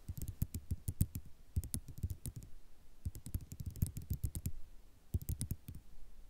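Long nails from both hands tap and scratch a flat sheet of small white square ceramic mosaic tiles lying on black cloth. The result is quick bursts of short, dry clicks and clatters, with a low body and bright, crisp tips, separated by brief pauses.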